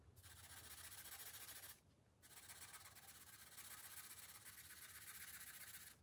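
A green felt-tip marker rubs steadily across the thin paper page of an open coloring book resting on a glass table while colouring. A bright, hissy scratching rasp runs for about a second and a half, stops briefly, then resumes and continues steadily to the end.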